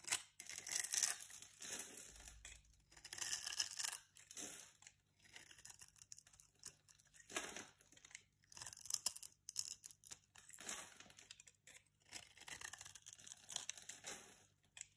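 A utility-knife blade scrapes scored curls and flakes off a solid pink bar of soap held in a hand with long painted nails. It makes a series of crisp, bright, crackling scraping strokes separated by short pauses, with almost no low end.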